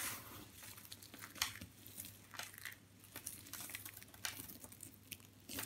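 Small, brittle white and blue dry soap chips are crushed and crumbled between fingers into finer pieces, with some grains sprinkled from the hand onto the pile. The result is a bright, dry crackling and crunching texture, broken up by sharp, short snaps that die away almost instantly.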